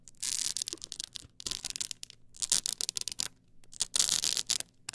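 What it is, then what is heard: Stack of plastic CD discs scratched along edges. Long acrylic nails scratch along the ridged edges of a tall stack of blank polycarbonate CD-R discs on a plastic spindle. The sound is a dry, bright, rasping scratch, with bursts of quick ridged strokes separated by short pauses and almost nothing in the lows.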